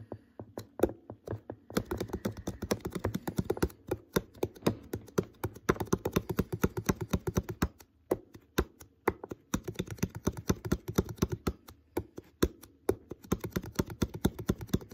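Fingertips tap quickly and unevenly on the shoulder of an empty, hollow, clear plastic water bottle with its neck uncapped. The result is a steady stream of short, dry, hollow taps with a low-mid body, occasional brighter clicks, and almost no ring after each hit.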